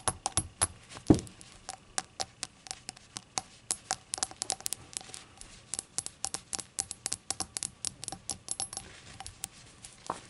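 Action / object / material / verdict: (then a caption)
tap / small glazed ceramic shot glass / glazed ceramic / none. Long acrylic nails tap around the rim and body of a small, hollow, rainbow-glazed ceramic novelty shot glass, empty and lying on a towel with its open mouth facing the camera. The result is a steady stream of short, bright clicks with a faint, quickly fading ring, plus one heavier knock with a low thump just after the first second.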